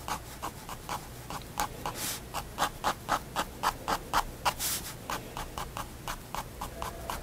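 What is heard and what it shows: A pigment liner pen makes dense, scratchy fur strokes on a white spiral paper sketchbook page resting on a wooden desk. About 27 short, quick scratches repeat at an uneven, brisk pace, centred near 1 kHz with a bright hiss, plus two longer, brighter swishes near 2 and 4.7 seconds.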